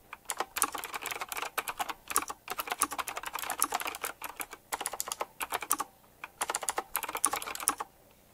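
Fingertips type rapidly on a retro typewriter-style mechanical keyboard with round plastic keycaps set in chrome rings. Dense bursts of sharp, bright clicks come in quick runs with brief pauses between them. Each keystroke stops almost at once, with no low rumble underneath.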